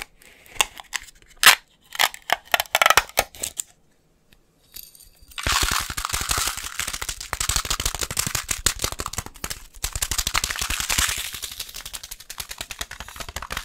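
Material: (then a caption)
Glass. A glass coffee jar is tapped rapidly, starting with scattered sharp clicks for about four seconds, then a short pause. From about five and a half seconds on comes a dense, fast flurry of bright, high taps that runs to the end with only a brief dip near ten seconds. Each tap is short and dry with almost no ring.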